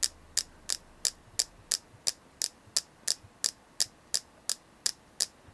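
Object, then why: Selenite flower carving tapped with fingernails. A palm-sized, solid white, flower-shaped selenite carving held in both hands is tapped with long nails. Seventeen sharp, bright clicks come at a steady pace of about three per second, with fainter taps between some of them. Each click is very short and high-pitched, with almost no ring over a faint low hum.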